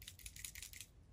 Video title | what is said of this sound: How to CHANGE THE HEADLIGHT SWITCH on your PORSCHE - Fixed my 986 tail light issue! (PROJECT 87) | When you shake it, you can hear little bits in there.